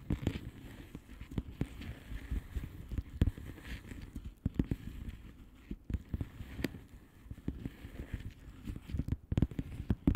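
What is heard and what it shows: Long painted nails on both hands tap and scratch across the bubbles of a blue plastic bubble wrap mailer lying flat. The result is a steady stream of quick, dull, low taps with a soft scratchy rustle beneath them. Each tap dies away almost at once, and the whole clip stays quiet.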